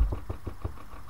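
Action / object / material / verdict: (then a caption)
strike / earth ground over a bunker / earth / solid. Repeated low, dull thuds from strikes on a spot of earth ground over a bunker, each dying away almost at once with no hollow ring. This spot sounds full and solid, unlike the hollow spots nearby, which is an odd finding over the bunker.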